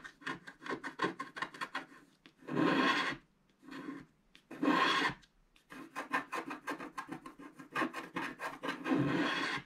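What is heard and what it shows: A wooden stylus scratches the right black strip of a black wax-coated scratch art card lying flat and solid. Quick, dry rasping strokes come in uneven runs, broken by a few longer, louder continuous scrapes. The strokes have a bright, papery texture.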